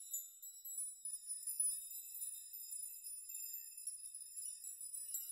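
Fingers brush many long hanging steel nails on a steel nail chime with a rock, swaying them so they clink together. The result is a quiet, continuous shimmer of bright, overlapping metallic tinkles, with sustained high ringing tones and no low end.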